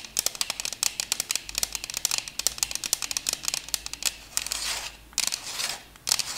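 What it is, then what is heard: Plastic CD case with disc. Long acrylic nails tap and scratch a thin purple plastic CD case holding a disc. Rapid, bright, dry clicks with almost no ring fill the first four seconds. They give way to longer, hissing scratch strokes near the end, with a few final taps.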